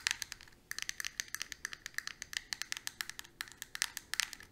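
A small, flat, square plastic eyeshadow compact with a clear lid and four pans, held in the palm, is tapped rapidly with long pointed acrylic nails. About thirty bright, clicky taps come in quick, uneven bursts with a short pause near the start. Each click is sharp and dies away at once, with almost no low end.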